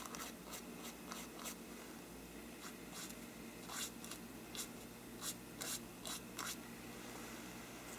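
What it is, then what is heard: Parchment paper lampshade being brushed. A small stiff brush is rubbed across the paper side of a hollow faux-parchment paper lampshade. It makes quiet, bright, scratchy strokes in short repeated bursts over a steady low background hum.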